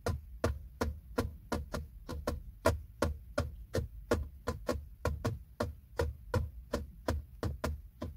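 Fingertips and short nails, with a ring on one finger, tap a flat, hollow, textured silver plastic trim panel beside a car's gear selector. About 25 quick, irregular taps sound as dull, short knocks with a low thump and a brief bright click, each dying away almost at once.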